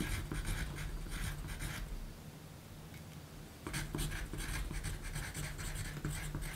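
A yellow wooden graphite pencil writes on a small pink paper note sheet lying flat on a black table, its tip scratching across the paper while the other hand rests nearby. Bright, gritty scratching strokes come in irregular bursts over a low, dull thud-like body, pausing into a quieter stretch midway before the writing resumes.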